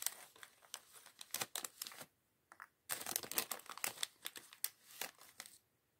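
A small clear polyethylene bag, partly full of loose plastic LEGO bricks from the LEGO Chevrolet Corvette C8.R Race Car set 76903, is held in both hands while fingertips rummage through the bricks and crinkle the bag. Quiet, bright crinkling comes in dense bursts of sharp clicks and rustles, with a short near-silent gap just after two seconds before a busier flurry resumes and fades out at the end.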